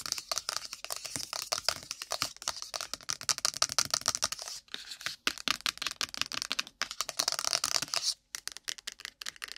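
Long pointed nails tap and scratch fast and roughly on a small, hollow white cardboard iPhone box with the Apple logo, resting on the mic. The clip is a dense run of crisp, bright clicks and dry scratches, each dying almost instantly, with brief pauses between bursts.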